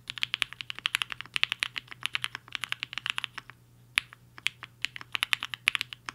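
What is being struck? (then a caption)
Mechanical keyboard with plastic keycaps. Fingertips of both hands type fast on a compact mechanical keyboard with a black case and white and pink plastic keycaps, resting on a desk mat. Dozens of short, sharp, bright clacks come in a rapid, uneven stream, with a brief lull just before the 4-second mark and a faint low hum underneath.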